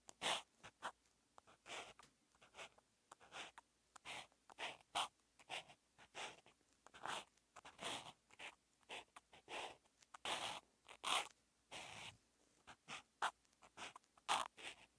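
A hand writes Chinese characters with a teal outline marker on a flat sheet of grid-lined calligraphy practice paper, its felt tip drawn and rubbed across the surface in continuous strokes. The sound is a quiet series of short, bright, scratchy swishes separated by brief silences, with a few longer drawn-out rubs.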